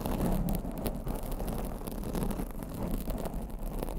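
Long blue acrylic nails scratch and rub a black foam microphone windscreen, producing a steady, muffled rustling and scraping. The sound is dense and boomy, with most of its energy in the low range and faint bright crackles on top.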